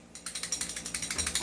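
A non-upgraded T-Rex airsoft pistol is shaken, and its loose barrel rattles loudly in a quick run of bright, metallic clicks. About fifteen sharp rattles are heard over 1.4 seconds, a jingling sound like sleigh bells.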